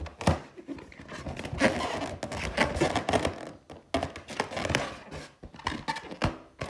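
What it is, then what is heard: Latex balloon tapped and scratched with nails. Long teal nails tap and scratch the top and side of a large, hollow, inflated clear latex balloon with a gold pineapple print. Dull, low thumps alternate with dry, rasping scratches and soft squeaks across the taut surface, each tap dying away quickly.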